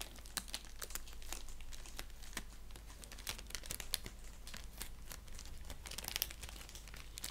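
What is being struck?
Padded paper bubble mailer.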